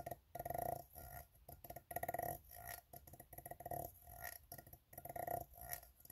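Fingertips tap and nails scratch along the ribbed side of an empty, open, hollow steel tin can. Bursts of rapid, rattling taps and scrapes come in uneven clusters, each carrying a hollow metallic tone around 700 Hz that dies away almost instantly.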